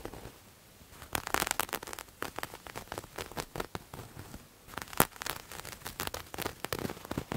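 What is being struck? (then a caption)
Textured knit fabric. Fingertips and nails scratch and scrunch a grey textured knit fabric, producing dense, dry crackling and rustling bursts with bright high edges. After a quiet first second the scratching runs in quick busy strokes, eases off briefly, then returns with a sharp louder scrape before continuing.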